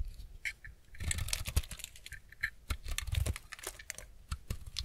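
A utility-knife blade shaves the corner and edges of a semi-dry white bar of soap held in the hand, making rapid scraping cuts. Quick bursts of crisp, crackly shaving with bright high-frequency edges sit over soft, low, dull thuds. Each stroke stops short with no ring.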